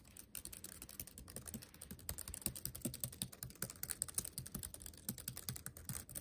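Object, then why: Plastic laptop keyboard keys. Fingertips tap on the number and letter keys of a backlit laptop keyboard with black plastic keys set in a metal body. A quiet, steady stream of quick, irregular taps gives soft low thuds with bright plastic clicks, each dying out almost at once.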